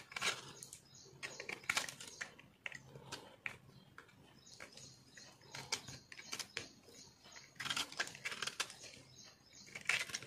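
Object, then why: Bar of soap carved with a metal knife. A metal knife carves and scrapes crunchy chunks off a solid, yellow-green speckled multicolor soap bar held in the hand. Bright, dry crunching and scraping bursts come in quick clusters with quieter gaps between, and each crackle stops almost at once with no ring.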